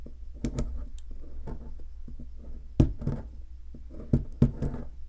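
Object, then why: Plaster block scraped with a metal pick. A metal pick scratches and chips into the center cavity of a solid white plaster ammonite-shaped fossil excavation block. Soft, dull scraping runs throughout, broken by a few sharper, louder chipping knocks that die away almost instantly. The sound is low and muffled, with little brightness.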